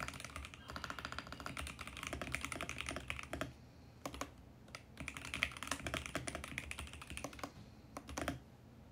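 A compact VGN X68 mechanical keyboard with plastic keycaps and a mint case is typed on with both hands' fingertips, giving steady, bright, short key-press clacks. The typing runs in quick bursts, with brief quieter pauses around the middle and near the end.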